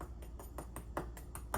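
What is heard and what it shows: The baked top pie crust of a cooled blackberry cobbler is tapped repeatedly at a steady pace, giving short, dry, hollow clicks over a low steady hum. The quick, crackly taps show the crust is baked crisp.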